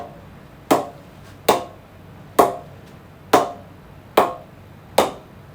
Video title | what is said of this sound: Kookaburra Beast Pro 2022 Cricket Bat review | the ping that is coming out of it is just superb